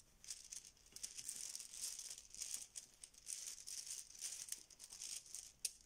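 A filled yellow fabric Bananagrams banana pouch is squeezed and rolled between fingers, making the plastic tiles inside rattle. The result is soft, bright, crisp clicking and rustling in uneven bursts, with almost no low end.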